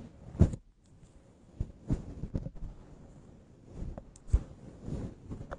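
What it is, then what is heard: Faux-fur microphone windscreen. Long acrylic nails rub and scratch a grey-white fluffy faux-fur microphone windscreen held in the hands. Soft, low, muffled thumps and brushing scrapes come in uneven bursts, with a few sharper scratchy ticks reaching into the high range.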